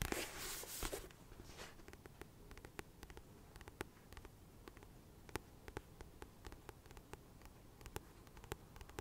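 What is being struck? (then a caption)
Paperback book with glossy cover. Fingernails scratch and tap the glossy paper cover of a solid, medium-sized paperback book held in the hands. A loud, bright scratching rustle fills the first second, then many sharp, brief clicks and taps scatter irregularly over a quiet, low background hum.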